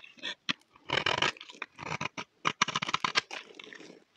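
A solid, dry, cream-colored rectangular bar of soap held in the hand is scraped with a utility knife blade. The result is a series of short, bright, crisp scraping bursts with quick pauses between them, most of the sound sitting high with very little low end.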